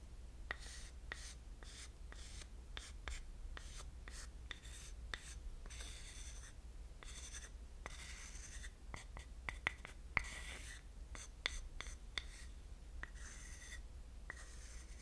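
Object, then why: Small carved wooden dish scraped with a thin wooden stick. A thin wooden stick rubs and scratches across the grain of a small carved wooden pineapple-shaped dish with a shallow hollow bowl side. Quiet, dry scratching strokes with a bright, hissy edge are broken by short, sharp ticks, all over a steady low hum.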